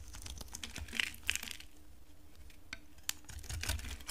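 A utility knife blade scrapes a dry, solid pink oval soap bar, peeling off thin flakes. Quick, dry, crisp scratches and crackles come in bursts over a low rumble, with a few sharper, brighter clicks standing out.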